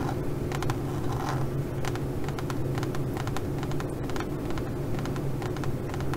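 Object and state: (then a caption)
Pebbled faux leather pouch being scratched. Long glitter nails scratch the surface of a leopard-print pebbled faux leather pouch. Quick, dry scratching strokes with bright crackly edges repeat irregularly over a steady low rumble.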